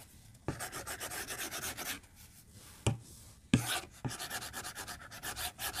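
A white plastic stylus is drawn and scratched along a glass tablet touchscreen resting on a desk. Quick, bright, rasping strokes come in bursts, broken by a few sharp taps and brief quiet gaps.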